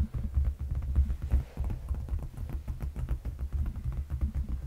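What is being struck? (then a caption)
Padded leather couch cushion. Fingertips and short nails on both hands tap and scratch the surface of a large, dark, padded and soft leather sofa seat cushion, close to a fluffy microphone. The result is a steady run of deep, muffled, bassy thumps with faint scratchy texture on top, almost all of the sound sitting in the low end.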